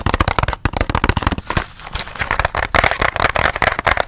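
A small, hollow white and teal cardboard box is tapped and scratched with nails and fingertips close to the mic. A rapid run of crisp, crackly taps gives way to a softer scratching stretch around the middle, then the quick tapping resumes.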